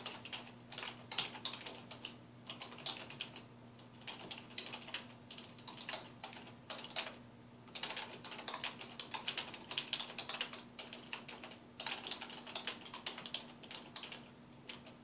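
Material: Plastic.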